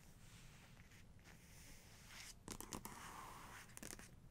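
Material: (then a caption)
Paper. Long nails on both hands rub and scratch across a portrait page in a photography book. A quiet, steady papery rustle with a low hum underneath gives way to brighter, sharper scratches: a cluster around the middle of the clip and another near the end.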